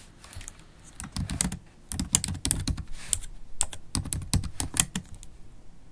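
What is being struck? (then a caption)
Laptop keyboard with plastic keys. Long acrylic nails tap and type on the black plastic keys of a MacBook Pro laptop keyboard. The result is a rapid run of sharp, bright clicks over soft low thumps, with the keystrokes clustered in bursts and brief pauses between them.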